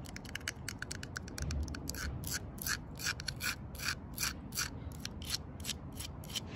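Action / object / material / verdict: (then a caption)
tap / tree trunk bark / bark / none. Long purple nails scratch and tap along the coarse bark and crevice of a thick, solid tree trunk with a crack. Quick, uneven bright clicks and dry scratches come at a steady clip over a low, soft rumble, each tap short with almost no ring.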